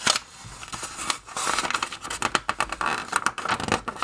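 The thin, printed glossy paper pages of an open magazine are flipped quickly by fingers, making a rapid series of flapping, rustling page turns. The sound is crisp and papery, with its energy in the mid and high range and almost no low end.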